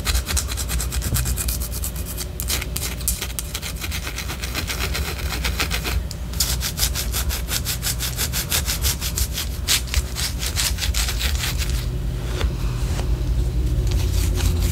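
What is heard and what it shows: Long orange acrylic nails scratch the top and side of a large white solid wax pillar candle. Quick, uneven scratching strokes make a steady bright rasping texture over a constant low rumble, holding a fairly even loudness throughout.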